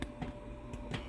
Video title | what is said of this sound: How to Make 100% Whole Wheat Bread in a Kitchenaid Mixer (or by hand) | when it's not done it's just more of a dead sounding thud this sounds more Hollow